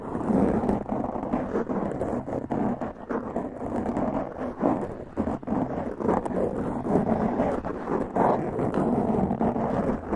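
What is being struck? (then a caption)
Foam microphone windscreen. Long press-on nails scratch a black foam windscreen on a large condenser microphone with both hands. The result is a continuous, dense, scratchy rustle, strongest in the low-mid to mid range with little bright content. It swells and dips steadily throughout.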